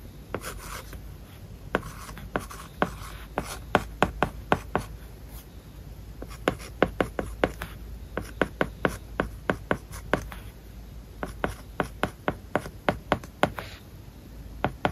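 A plastic stylus writes words on an iPad lying flat, its glass screen covered with a matte plastic paper-like film. Dozens of short, sharp taps with soft scratching strokes between them, each tap dying away almost instantly over a low steady background hiss.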